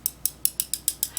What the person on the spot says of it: it sounds like glass to me